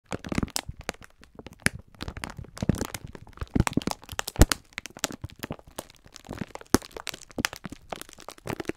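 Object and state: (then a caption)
Plastic-wrapped pack of sponge scourers. Both hands squeeze and rub a full, soft rectangular pack of several green sponge scourers sealed in clear plastic film with a printed label. The plastic wrap crinkles in dense, irregular bursts of sharp crackles, with some brief louder snaps over a low, soft rubbing undertone.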